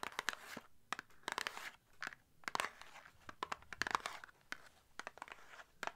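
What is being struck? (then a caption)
Small paperboard box. Long nails scratch and tap the surface of a small, hollow, closed red and white printed paperboard product box held up close. Quick, dry, crackly taps and rasping scratches come in uneven bursts, bright and thin with almost no low end. Each tap stops short without ringing.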